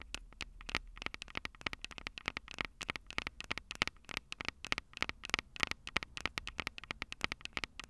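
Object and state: Metal microphone capsules tapped with nails.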